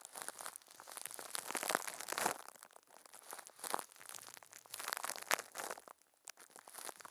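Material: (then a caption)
Plastic film. Furry puppet hands squeeze and crinkle thin, clear plastic film wrapped over a microphone head. The result is a dense, continuous crackling with sharp bright snaps and bursts of crunchy rustle that swell and fade. Brief quieter gaps break up the sound.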